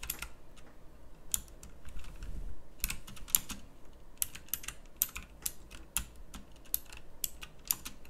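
Long fingernails type rapidly on a pink backlit plastic mechanical keyboard with round typewriter-style keycaps, producing about 19 sharp, bright clicks at an uneven pace. The clicks are short and crisp over a low, steady background hum.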